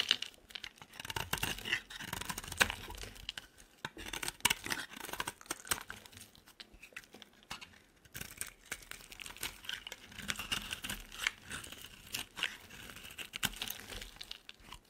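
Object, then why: Bar of soap shaved with a blade. A solid oval purple soap bar held in the palm is shaved with a utility knife blade in short scraping strokes. Dense, bright, crisp scraping and shaving sounds run throughout, with a brief quieter pause near the middle.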